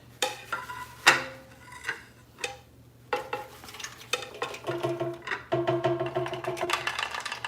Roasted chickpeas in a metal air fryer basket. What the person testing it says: Can you hear how crispy they sound?